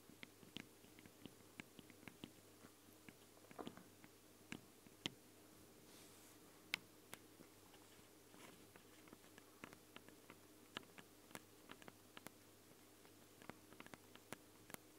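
Long blue nails tap and scratch directly on both X-Y microphone capsules of a small, hollow Tascam handheld recorder, whose capsules have ridged metal grilles and red rings on a black plastic body. About thirty quiet, sharp, bright clicks with almost no ring are scattered irregularly over a steady low hiss and hum, with faint scratchy rustles between some taps.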